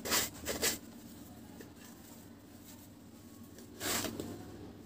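A partly broken, flat, solid, dry cement cake held in one hand is shaved with a metal knife blade in scraping, sawing-like strokes. Two quick bright, gritty rasps come first, then a long quiet gap, then a longer scraping stroke near the end. Each stroke is dry and hissy, with little low end and almost no ring.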